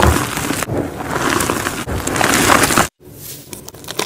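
Soft, dry white magnesium carbonate gym chalk blocks and powder, crumbled in a pile, are squeezed and rubbed between the fingertips and palms of both hands. A dense, gritty crunching and crumbling fills the first three seconds with bright, crackly texture, then cuts to a brief silence. Quieter rubbing and scattered small crunches follow.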